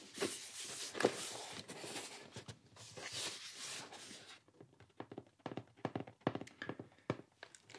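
Light fingertip taps on a decorated Japanese tea gift box with a catfish design before it is opened. The first half holds a denser wash of broadband rustling and soft knocks, then the sound thins into scattered short, dry taps with little ring, irregularly spaced across the clip.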